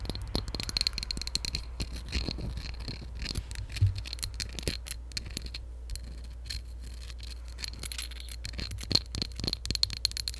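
A hollow, empty beige ceramic mug with raised lettering is tapped and scratched with long nails on its sides and base. Rapid, clustered clicks and scrapes form a dense, bright texture with a high ringing tone over a steady low hum.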